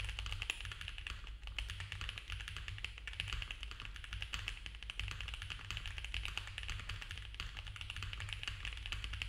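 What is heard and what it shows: A compact mechanical keyboard with cream ABS keycaps on a dark case, a polycarbonate plate and foam filling is typed on fast by both hands with the fingertips. A continuous stream of rapid, short, bright clacks centred around 2.7 kHz sits over a steady low rumble. The taps blur into a dense, even patter throughout.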